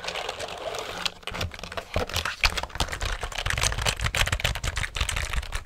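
A black plastic computer keyboard is held upright in front of a microphone while fingertips press and tap its keys. The result is a fast, uneven stream of short, bright plastic clicks and clacks, each with a dull low thud beneath it.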